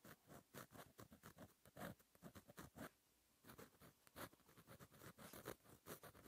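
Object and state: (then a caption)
Pen writing on a paper notebook page. A fine metal gel pen tip scratches across a flat black lined notebook page while writing cursive, giving quiet, rapid scratchy strokes with bright edges. The strokes come in quick bursts and pause briefly near the middle before resuming.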